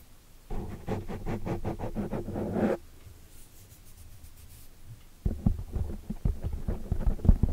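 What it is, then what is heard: Foam microphone windscreen, tapped and scratched. Long dark nails tap and scratch the surface of a black foam microphone windscreen, making muffled, low, thumping scratches. A dense burst of scratching is followed by a quieter pause, then a rapid run of soft taps.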